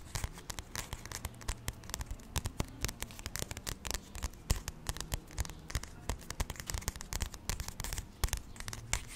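Fingertips and nails scratch and tap the glossy card cover of a solid paperback graphic novel, "Real Friends," held in one hand. Rapid, irregular crisp taps and dry scratching strokes ring out sharply over a steady low hum, each tap dying away almost at once.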